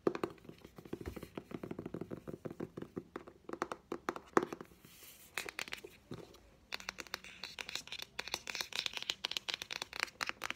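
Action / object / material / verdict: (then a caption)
tap / hardcover book, cardboard and paper / cardboard / none. A solid green hardcover children's book is held in the hand while fingernails and fingertips tap its spine and cover. Quick, light, crisp clicks come in dense runs with short pauses. The taps grow brighter and scratchier in the second half.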